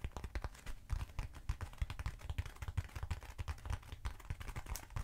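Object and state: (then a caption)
Hollow foam cylinder tapped with nails. Long nails tap quickly on a short, hollow black foam cylinder held up close. A rapid, uneven stream of soft, dry, hollow taps with a dull low thud and almost no ring, each one dying away almost instantly.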